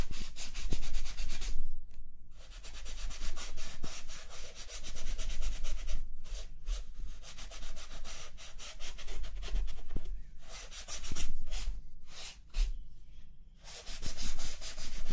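A small pink cloth held in the fingertips is rubbed back and forth over the textured black plastic bottom panel of a large, hollow laptop base lying upside down, wiping off dust. The result is a steady, dry, broadband scratchy swishing with brief pauses between rapid strokes.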